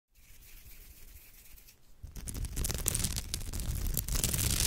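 Long almond-shaped nails scratch back and forth along the tight weave of a hollow crochet-woven straw or raffia purse. A soft, faint rasp grows into dense, bright, crackling scratches with a low rumbling undertone after about two seconds, then stays loud and steady to the end.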